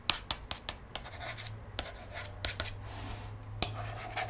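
Long nails scratch and trace along the printed page of a cardboard board book lying open on a table, its thick glossy paperboard pages giving off about ten sharp, bright clicks and scrapes. A quiet, dry rubbing runs between them over a steady low hum.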